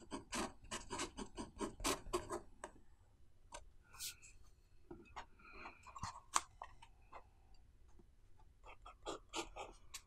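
A blue pen nib scratches across an open paper notebook page on a wooden table, writing Chinese characters while the other hand rests flat on the left page. Short, bright, scratchy strokes come in quick irregular bursts, dense at the start and end with quieter, sparser strokes and soft rubbing in between.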